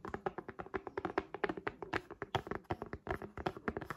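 Long acrylic nails on both hands tap rapidly on the purple plastic folio cover of a tablet held in both hands. About 29 quick, dry clicks come in an uneven flurry, each with a short hollow knock near 380 Hz that dies away almost at once.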